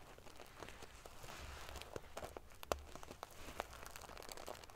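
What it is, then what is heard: Metal sequin-covered pillow. Long fingernails scratch and ruffle the silver metal paillettes covering a pillow, giving a quiet, steady crinkly rustle. Sharp little metallic clicks and ticks stand out from the rustle, and the loudest snap lands near the middle of the clip.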